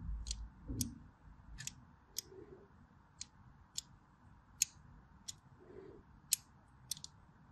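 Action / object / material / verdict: scrape / bar of soap / soap / none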